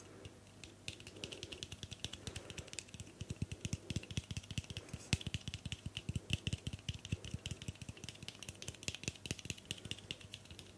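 Long nails tap rapidly on the plastic cap and hollow metal side of a white L'Oreal Tecni Art aluminium aerosol hairspray can. A quick, steady run of dry, bright clicks with very short ring continues throughout, over a constant low hum.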